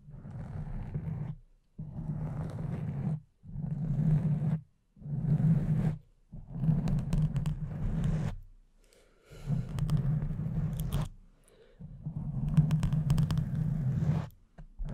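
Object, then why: Foam microphone windscreen. Long nails gently scratch a pink foam microphone cover with both hands. The result is a soft, low, rumbling scratch that comes in repeated bursts separated by short silent pauses, with occasional faint brighter crackles.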